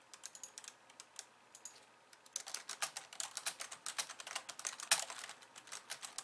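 Long nails type on the plastic keys of a compact pink and white plastic computer keyboard, at times with only one hand. Sparse, quiet clicks in the first two seconds give way to a faster, denser run of bright, crisp taps with almost no low end. Each tap dies away almost at once, and one sharper, louder click stands out near the five-second mark.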